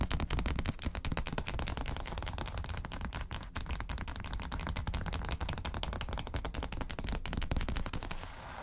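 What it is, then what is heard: Glossy paper magazine. Long acrylic nails rapidly scratch and tap the cover of a closed glossy paper magazine lying flat on a table. The result is a dense, continuous stream of quick, dry clicks and scratches with a heavy low-end thump, softening slightly at the very end.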